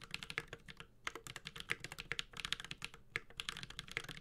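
A Space65 Cybervoyager 65% mechanical keyboard with an aluminum case, ABS keycaps and Holy Panda switches is typed on continuously with the fingertips of both hands. A fast run of about 31 sharp, bright clicks and clacks sounds, each dying away almost instantly, with a light low thock under the bright keystrokes.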